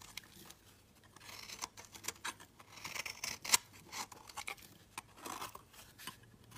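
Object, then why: Solid soap bar scraped with a metal blade. A green and yellow marbled solid soap bar is held in the hand and scraped and shaved along its edge with a metal box-cutter blade. The result is a quiet series of short, dry, bright scraping strokes, with one sharper, louder scrape near the middle.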